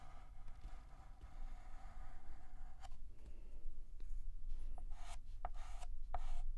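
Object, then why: Chalk on a painted blackboard. A hand draws the curved outline of the letter R with a stick of white chalk on a large, flat, painted black chalkboard. Soft, gritty scratching and rubbing strokes sit over a low, steady rumble, with a few brief, brighter chalk taps and squeaks toward the end.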